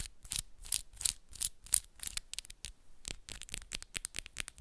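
Long pink and black acrylic press-on nails have the tips of one hand scratching and tapping the nails of the other hand up close. A quick, steady run of dry, bright clicks and scratchy swipes comes through, each one short with no ring, the taps packing closer together in the second half.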